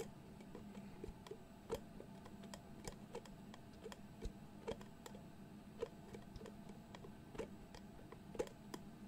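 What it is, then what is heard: Glass jar with metal screw lid. Fingertips twist and tap the dark metal screw lid of a medium glass jar with pale contents, held close to the mic. A steady run of quiet, short ticking clicks with a slight ring near 480 Hz sounds over a low, constant hum, with a few louder taps standing out.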